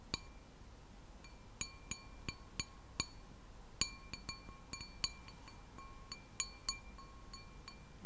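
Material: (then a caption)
Glass. A glass object is tapped 17 times, each tap giving a short, bright clink with a faint ringing tone. The taps come in uneven bursts over a quiet, low hiss.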